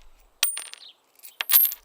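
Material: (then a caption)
Metal. A metal coin is dropped, giving bright, high-pitched metallic clinks followed by a short rattle as it settles. A second burst of clinking and jingling follows about a second later.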